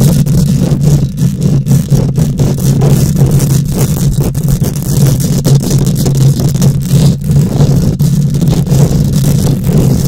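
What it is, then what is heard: Metal mesh microphone grille being scratched. Long nails scratch rapidly across a bare steel mesh microphone grille. The result is a continuous, loud, rough scraping that is heavy in the low end, with a steady hum around 160 Hz and a faint high hiss.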